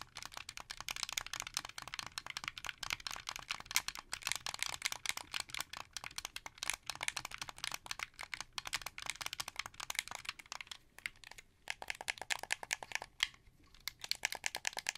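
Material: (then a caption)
Plastic. Fingertips click the buttons and triggers of a translucent blue, hollow plastic wired Xbox 360 controller held in both hands. Rapid, dry, bright plastic clicks run almost continuously, each dying away instantly, with almost no low end and brief gaps near the end.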